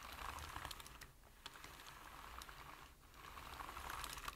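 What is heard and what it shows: Fingertips type on a full-size black plastic computer keyboard, producing quick, irregular clicky key taps with bright transients over a low background rumble. The tapping is dense at the start and end, with a quieter pause near the middle.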